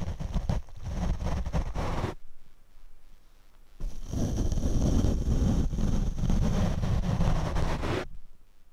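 A paint brush is brushed across a black foam windscreen on a Rode microphone. It makes dense, low, rumbling scrapes in two passages, about two seconds and then about four seconds long, separated by a quiet gap.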